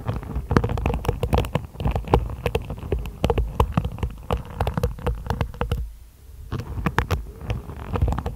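Long blue-painted nails scratch and flick across the tips of a hairbrush's dense black plastic bristles, set in a wooden base, in quick strokes. The result is a rapid, uneven stream of short, sharp ticks and rustling scrapes with a heavy low rumble. The sound dips briefly into a quieter stretch near the six-second mark before the flicking picks up again.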